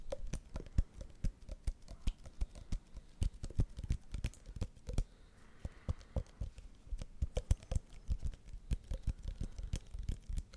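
A small, elongated white printed paperboard box, apparently hollow and probably empty, is held in both hands in front of the mic and tapped and scratched with the fingertips and nails. Rapid, irregular clusters of dull, hollow taps with almost no ring come through, mixed with soft, dry scratching and brief pauses.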